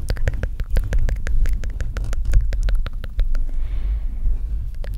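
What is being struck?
Metal microphone with mesh grille.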